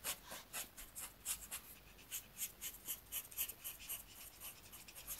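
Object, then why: Paper sheet rubbed with a marker tip. A black marker tip is rubbed in repeated short strokes across a thin, flat paper coloring sheet while the other hand steadies the page. About 12 quiet, bright, scratchy swipes come at roughly four per second in a loose, uneven rhythm. Each one is dry and brief with almost no low end.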